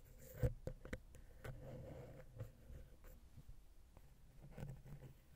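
A wooden ear pick scratches the center and then the side of a silver metal XY stereo microphone capsule on a Zoom H6 recorder. Quiet, low, rumbling scrapes are broken by several sharp, brief clicks and taps, with little high-end content.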